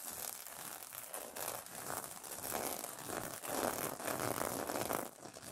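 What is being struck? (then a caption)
Plastic sequin fabric on a pillow. Fingers and nails scratch and rub across the reversible plastic sequin fabric of a pillow cover, flipping the sequins over. A continuous dense crinkling, scratchy rustle with bright high hiss swells and fades in uneven strokes, briefly dropping quieter near the end.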